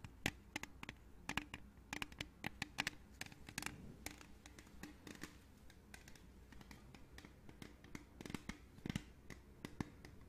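A hollow, printed aluminium beverage can is held in the hands and tapped and scratched with long nails. Quick, sharp, bright clicks scatter irregularly over a soft scratchy rasp. The taps die away almost instantly, with a faint hollow low ring beneath them.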